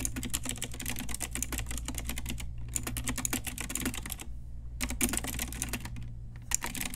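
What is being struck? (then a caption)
Plastic mechanical keyboard. Long nails and fingertips type on an Ajazz pink retro typewriter-style mechanical keyboard with round plastic keycaps. Rapid bright plastic clicks and clacks come in bursts with short pauses, over a steady low hum.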